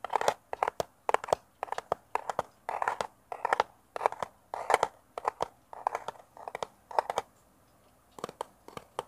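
Fingernails tap quickly on the surface of a small, hollow, rectangular brown kraft cardboard box held in the hands close to a mini mic, sounding like typing. Short, dry clicks come in rapid bursts with brief pauses, giving a hollow, papery tone centred in the midrange with little low end. A longer quiet gap falls near the end before a few final taps.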